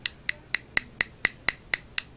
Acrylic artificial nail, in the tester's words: that hollow sound means that it's ready to buff